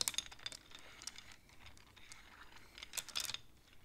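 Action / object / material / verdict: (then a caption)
tap / wooden abacus with wooden beads on metal rods / wood / none. Fingertips slide and tap the painted wooden beads on the metal rods of a wooden abacus. Quick, bright clicks come in bursts at the start and again near the end, with quieter sliding and rubbing between them. The sound is soft overall and has almost no low end.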